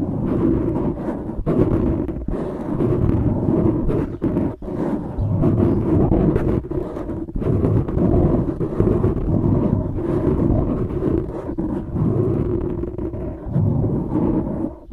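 Fingertips rub and scratch both sides of a dark grey foam microphone windscreen, producing a steady, dense, muffled scratching rumble that sits mostly in the low and low-mid range with brief dips. The sound stays continuous and close throughout, with no bright high end.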